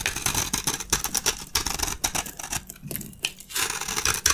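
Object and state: Dry soap bar, crunchy when shaved.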